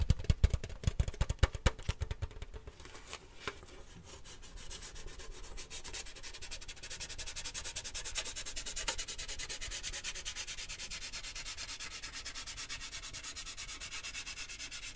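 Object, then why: Large lidded metal tin can. A large, lidded, cylindrical metal cheese-puff tin decorated with a Christmas puppy print is held in the hand while fingertips and nails work its side. It opens with quick, sharp tapping and rubbing with a low thump, then settles into a steady, bright, rapid scratching and rubbing that continues to the end.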